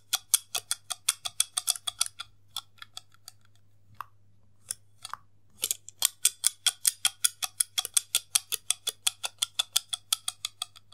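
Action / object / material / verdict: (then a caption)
tap / slim plastic case with snap lid / plastic / none. A hollow white plastic slim case with a snap lid, held horizontally in both hands, has its lid and catch pressed and clicked by fingertips, giving about 49 small, sharp, bright plastic clicks. The clicks come in quick, steady runs, thinning to a few scattered snaps in the middle before picking up again. A faint low hum sits underneath throughout.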